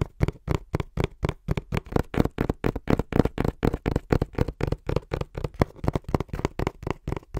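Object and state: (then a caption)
Cardboard box. Fingertips tap quickly on the front face of a small, hollow brown cardboard box held flat in both hands, giving about 33 short, dull, hollow thuds in a fast, slightly uneven stream. The taps are low and muffled with almost no high end, and each one dies away almost instantly.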